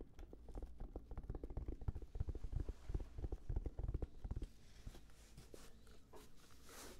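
A black, round, hollow, hand-sized Sony headphone case with a fabric-covered semi-rigid shell is held in front of the face and the microphones and tapped with the fingertips. Quick, irregular, dull low thumps die away almost instantly. After about four and a half seconds the tapping turns softer and lighter, with a faint brighter hiss.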